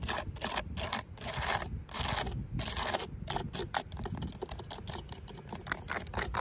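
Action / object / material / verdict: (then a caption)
scrape / ribbed plastic fence-top guard / plastic / none. Long pink acrylic nails tap and scratch along the ribs of a corrugated yellow plastic safety cap, a hollow ribbed tube on top of a chain-link fence. Bursts of bright, hissy scraping alternate with rapid, dry clicking taps that give a light hollow knock with almost no ring.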